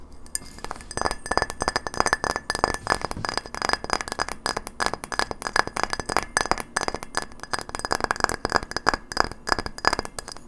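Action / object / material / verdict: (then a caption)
tap / frosted glass light bulb / glass / none. A hand-sized, hollow frosted white glass light bulb with a metal screw base is held between both hands and tapped fast with long fingernails. A dense, steady stream of sharp, dry glassy clicks follows, each with a faint ringing tone near 1.7 kHz and bright high overtones.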